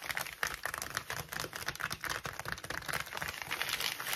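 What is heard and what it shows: Fingertips and nails rapidly scratch, rub and tap a crinkled white plastic mailing bag lying flat on a table. The result is a fast, dense run of dry, bright crinkling and scratchy clicks, each dying away almost instantly, centred around 1.8 kHz with little low end.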